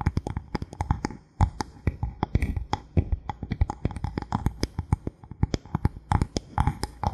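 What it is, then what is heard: Bamboo board. Fingernails quickly tap and scratch the surface of a thin solid bamboo board held at an angle. Dozens of short, dull, low-pitched knocks follow in a rapid, uneven rhythm, with soft scratchy texture between them and a brief pause a little over a second in. Each tap dies away almost instantly.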